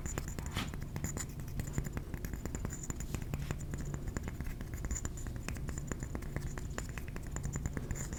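Fingernails tap rapidly and continuously on a ceramic trinket plate, making a dense run of short, dry clicks. The sound is mostly low and muffled, with a faint bright tick on top and almost no ring after each tap.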